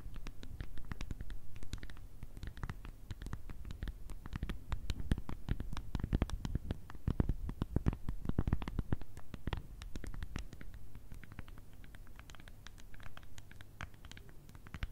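A small hollow plastic remote control with a rubber keypad, held in both hands, is tapped and scratched on its buttons with long red nails. Rapid, dense, dull clicks and scratchy taps run throughout, with a low, muffled body under brief bright ticks that stop almost instantly.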